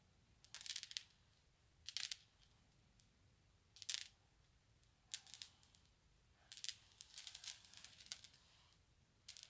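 A group of small solid glass marbles on a carpet is rubbed and rolled against each other by a palm and fingertips, then gathered up by the fingers. Short bursts of bright, rattling glass clicks come in clusters separated by quiet pauses, each click ending almost instantly.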